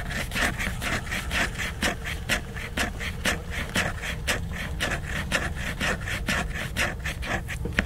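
Fingernails scratch and tap the glossy laminated cover of a large picture book. Quick, bright, raspy scratching strokes and crisp taps repeat at a steady pace of about two per second, over a constant low rumble.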